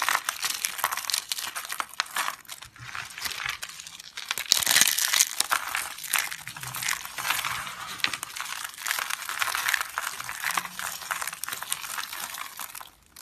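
A bare hand squeezes, presses and rubs its fingers and palm through a pile of small, hard, dry green soap flakes. The result is continuous dense, bright crunching and crinkling, with a louder burst of crushing about a third of the way in before settling back to steady rustling.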